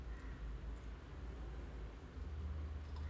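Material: Nothing is struck.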